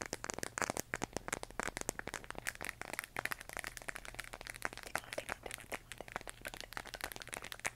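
A large, hollow plastic LED moon lamp glowing pale yellow-green is held in the hands and tapped and scratched with long nails. The result is a dense, rapid stream of crisp, dry clicks and scratchy rustles with a bright edge, each tap dying away almost instantly. A faint, steady low hum runs underneath.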